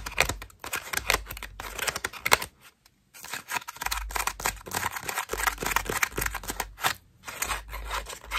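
Long nails rapidly flick, pluck and scratch the petals of a cream foam bath loofah, making dense, bright, crackling scratches with sharp snapping accents. The bursts of sound briefly stop for a short silent pause before the quick scratching resumes.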